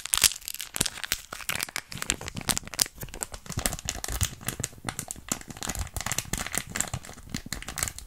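A small, hollow, apparently sealed miniature printed foil-plastic snack packet ("Shopkins Tasty Snacks") is held in the fingers close to the mic and squeezed and crinkled with long red-painted nails. The result is a continuous stream of sharp, bright crinkles and crackles with a little low thump from the handling, steady throughout with no ringing.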